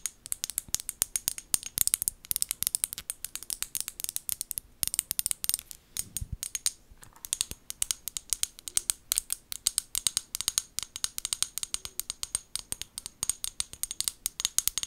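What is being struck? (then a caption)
Small glass bottle with plastic lid. Long gold nails tap and scratch along the body of a small amber glass bottle with a white plastic lid, held in the hands. A steady stream of quick, bright clicks and scratchy ticks sounds with almost no low end, each one dying away instantly.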